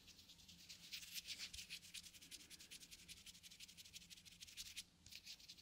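Fingertips scratch and rub the lid of a small round plastic cosmetic cream jar held in one hand. Quiet, rapid, bright scratching strokes repeat steadily, with almost no low end, and there is a brief lull near the end before the scratching resumes.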